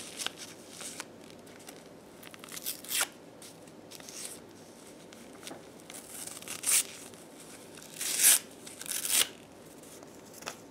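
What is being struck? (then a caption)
Paper sheet. Fingers in black lace gloves tear small pieces of white paper sheet into smaller scraps. Soft, bright crinkling and tearing runs throughout, with louder, sharp rips near 3, 6.7, 8.3 and 9.2 seconds. There is almost no low end.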